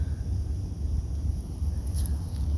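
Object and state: Nothing is struck.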